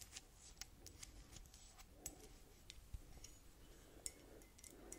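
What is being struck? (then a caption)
Ceramic mug. Long dark red nails tap and scratch the sides and bottom of a white ceramic coffee mug with a cartoon print, held up in both hands and hollow and apparently empty. Sharp, bright clicks with a very short ring stand out over a soft, low scratching rustle throughout the quiet clip.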